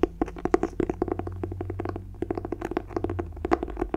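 Fingertips rub and scratch the cloth cover of a closed, solid green clothbound hardcover book with a red bird pattern, held in one hand. A quick, uneven series of short, dry taps and scratches sits over a steady low hum.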